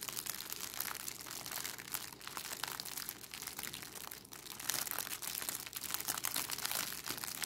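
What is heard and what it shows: A thin, clear, crinkly cellophane plastic bag with a red price sticker is held in both hands and crumpled and scrunched by fingertips with long decorated acrylic nails. It makes a steady, dense stream of bright, high crinkling and crackling with almost no low end, and the crackles swell slightly louder toward the end.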